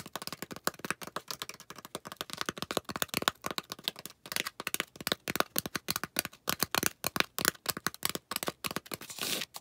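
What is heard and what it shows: Long acrylic nails quickly scratch and tap along the rim and face of a solid, round white polystyrene foam disc. The result is a dense, rapid stream of dry, crackly clicks and scrapes, bright with little low end. Each one stops almost instantly with no ring.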